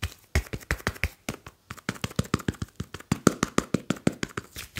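A smartphone with a glass screen and metal back is held in both hands while fingertips tap and rub it. About 30 quick, dry taps land in an uneven rhythm over roughly five seconds. Each has a soft low thump and a brief bright click that stops almost at once.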